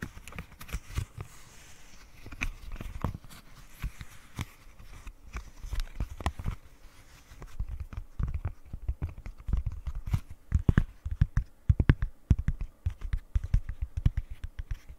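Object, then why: Silicone pop-it fidget toy. Long nails tap and scratch along the sides and hollow bubbles of a flat, rectangular rainbow silicone pop-it fidget toy. The result is a quick, irregular patter of soft, dull, low taps that die away instantly, with faint scratchy texture in the first half. The tapping grows denser and louder after about seven seconds.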